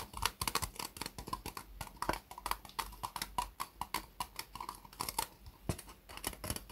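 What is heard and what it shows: Long nails tap and scratch the ribbed sides of an empty white disposable plastic cup turned upside down. Quick, irregular, hollow clicks with a plasticky tone near 1 kHz mix with bright scratchy rasps. The sound stays steady and dense for the whole clip.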